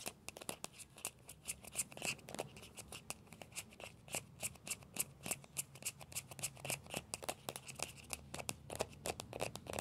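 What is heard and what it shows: Fingertips and nails scratch and tap the shell of a small hollow orange plastic ball with a yellow stripe. The result is a quiet, rapid, irregular stream of short, dry, bright clicks and scrapes with almost no ring after each one.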